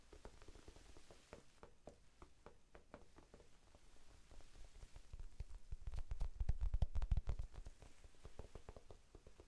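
A small, soft, solid rectangular pink foam sponge, held in both hands near the face and microphone, is tapped with the fingertips. The result is a quick, uneven patter of quiet, dull, low thuds with almost no ring. The tapping swells louder around the middle-to-late part of the clip before easing off again.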